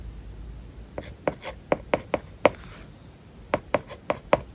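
A plastic stylus writes on an iPad lying flat with a matte plastic paper-like film over its glass screen, scratching and tapping the surface. Twelve short, dry clicks with a faint scratch come in two bursts, with a quiet pause between them. Each tap has a clear tone around 590 Hz and dies away almost instantly.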